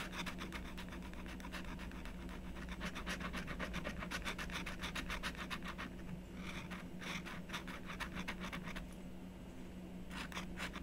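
A blue stylus scratches small lines into a thin, solid black-coated scratch-art sheet resting on a desk, while a long-nailed hand steadies the top of the sheet. Quick, bright scratching strokes rasp in rapid bursts over a steady low hum, thinning out after the middle and returning briefly at the end.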